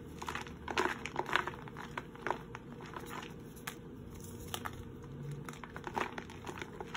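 A palm-sized red-and-white gym chalk block of magnesium carbonate, already broken into two chunks, is held over a blue bowl of powder and snapped and crushed by bare fingertips and palms. Dry, crumbly crunches and crackles sound in uneven bursts, with crumbs falling into the bowl. Each crunch is short and dies out almost at once.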